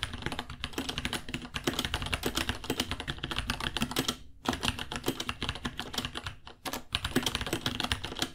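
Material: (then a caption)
Plastic. Fingertips of both hands type quickly on a white 66-key mechanical keyboard, about 30 cm long, with plastic keycaps, Gateron Brown switches and a hollow case. A dense stream of short, bright clacks rides over a hollow low thump, and each keystroke dies away almost at once. The typing breaks off briefly around 4.3 and 6.5 seconds before carrying on.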